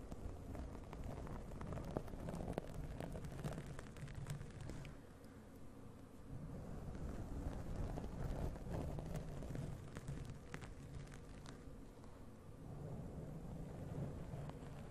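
Long nails of both hands scratch the soft, porous black foam windscreen covering the hollow head of a large condenser USB microphone. The result is a dense, continuous rumbling scrape, heavy in the low end and dotted with faint crackly ticks. It eases briefly around 5–6 seconds and again near 12 seconds.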